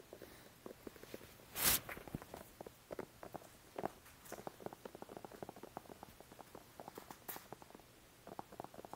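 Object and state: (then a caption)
Plastic squeeze bottle tapped and scratched. Fingertips tap and scratch the sides of a small, hollow white plastic glue squeeze bottle with an orange nozzle cap, held close to the mic. Quick, dry, clicky taps patter irregularly throughout. One louder, bright scraping burst comes near the start, and a few thin, high scratches appear later.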